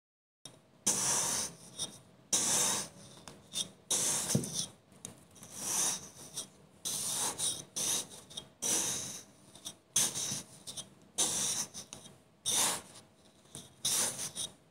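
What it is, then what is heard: Kinetic sand block being cut and scraped. A solid block of green kinetic sand, molded into a small bottle shape, is cut and scraped apart with the teeth of a green plastic comb held in the fingers, crumbling into slices while other bottles nearby stay untouched. The sound is a series of dry, bright, gritty rasping scrapes in irregular bursts, separated by short quiet pauses and soft crumbling.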